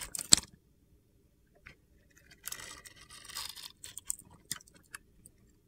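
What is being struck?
Bar of soap.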